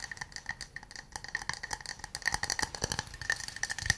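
An empty, small hollow wooden cup held in both hands is tapped and scratched with fingernails and fingertips. The result is a fast, uneven patter of dry, sharp clicks with a hollow tone near 1.8 kHz and bright upper edges. Each tap dies away almost instantly, with soft scratching between the taps.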